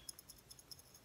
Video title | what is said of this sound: Digging History - Honoring the Sacrifice "Digging in Virginia, Hurricane & Barboursville" | when you shake it there's something in it